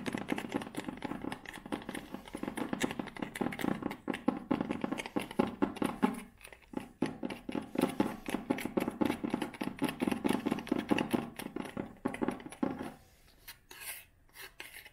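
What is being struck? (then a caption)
Leather-bound hardcover book. Long nails scratch and tap along the tan spine of a thick, solid leather-bound hardcover book with a brown cover. A dense, dry run of quick taps and rough scratches sits mostly in the low-mids, with a brief lull around 6.5 seconds. The sounds thin out to a few softer scrapes near the end.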